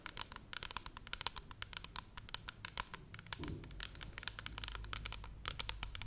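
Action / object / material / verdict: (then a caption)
tap / plastic pump shampoo bottle / plastic / none. A large, hollow, pale blue plastic pump shampoo bottle is held upright in both hands and tapped and scratched with long red nails. Quick, bright, dry clicks come in an uneven stream over a faint low hum, with a brief soft scrape partway through. Each tap dies away almost instantly with no ring.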